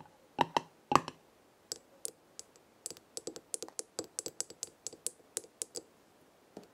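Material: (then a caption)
Glass, metal. Long red nails tap the gold metal screw lid of a small square glass jar filled with dried herbs, then fingertips grip and tap the jar's glass sides. About 25 short, dry clicks sound in an uneven rhythm, with a bright tick and a faint ring near 1 kHz. The first few taps are the loudest and fullest, followed by lighter, quicker taps that die away almost instantly.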